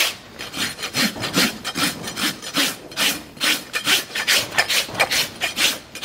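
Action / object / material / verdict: scrape / horse hoof keratin horn / keratin horn / none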